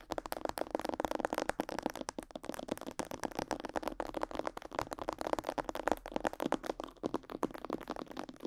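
Long yellow nails and fingertips tap rapidly over the sides, jaw and neck of a life-size, glossy black plastic mannequin head that is likely hollow. The sound is a steady stream of quick, dry clicks and light rattling taps, centered in the midrange with little low or high content. The tapping continues throughout at an even, soft level.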